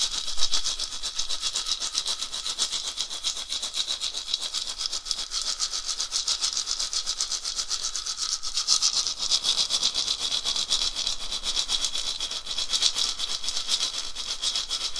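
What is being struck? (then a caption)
Dried gourd rattle with wooden handle. A round, hollow, carved dried gourd rattle on a wooden handle is shaken quickly by hand, and its filling rattles inside. The result is a dense, continuous, bright shushing rattle that stays steady for the whole clip, with slight swells around the middle and near the end.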